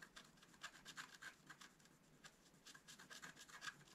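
A wooden stylus scratches the coating of a flat, black-coated scratch art paper card. The result is a quiet, dry run of short, bright scraping strokes with little low end, each one rasping and stopping with no ring.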